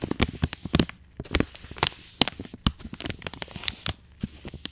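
An angled paintbrush held in a black-gloved hand brushes the side of a soft plastic wet wipes pouch with short strokes. The result is a quick, irregular series of dry, crinkly scratches, each with a bright hiss and a low soft thump, with no ring after each stroke.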